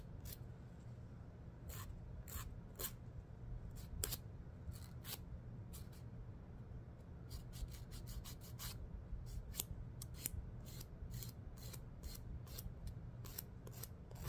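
Fingernails are drawn back and forth across the abrasive surface of a long, thin, dark, solid emery board nail file held in the other hand. Short, bright, dry scratching strokes come in an irregular series over a steady low hum, each stroke quick with almost no ring.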